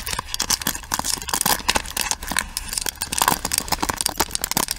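Long nails tap and scratch the pins and frame of a pink plastic paddle hairbrush. The result is a rapid, uneven stream of crisp, bright plastic clicks mixed with scratchy rasps, each one short and dry with almost no ring.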